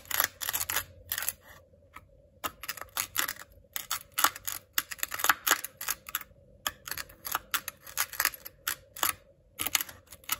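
A white ceramic knife repeatedly cuts and scores lines through a thin, flattened patch of blue kinetic sand on a white plastic cutting board. The result is a steady series of short, bright, crunchy scraping bursts with tiny pauses between strokes, over a faint steady low background hum.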